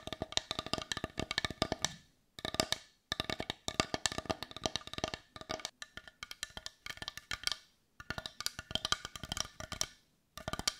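A hand-sized, hollow, heart-shaped dark brown wooden bowl is tapped rapidly with long nails and turned to show its rounded back. Fast bursts of dry, bright clicks come in quick runs separated by brief silences. Each tap dies almost instantly, with a hollow wooden tone around 1.2 kHz.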